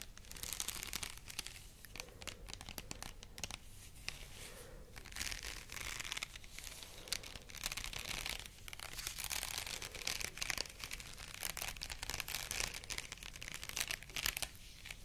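A white plastic hair headband covered in small faux pearl beads is held in both hands close to the mic while long nails scratch and rub across the beaded surface. The result is a dense, steady stream of bright, crisp clicking and crackling with many tiny overlapping ticks and little low end. Each tick dies away almost instantly.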